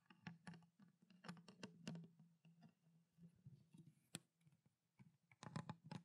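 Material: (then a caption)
Plastic. Long black nails tap and scratch quickly on a small, clear, ridged plastic water bottle with a blue cap and water inside. About fifteen short, dry clicks stand out over a soft scratching texture and a steady low hum. The taps stop almost at once, and the whole clip stays quiet.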